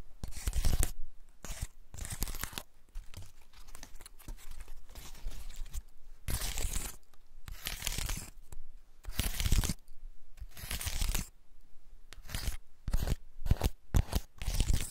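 Fingernails and fingertips scratch along the open scales of a large, elongated, dry woody pine cone held in the hand. The sound is a series of dry, crackly rasping bursts with bright, tearing texture, separated by quieter pauses of faint crinkling.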